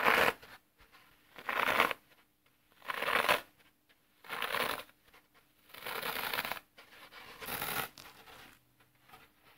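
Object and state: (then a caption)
Floral foam block crushed. Thumbs press into both long edges of a solid, dry green floral foam block with dented edges, crushing the brittle foam in a series of separate bursts of crisp, crackling crunch that spread up into a bright hiss. Quiet pauses fall between the presses, and near the end softer crackles are heard as the block is turned.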